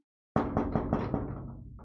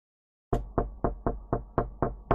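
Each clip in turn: First: knock on thin sheet metal. Second: knocking on wood.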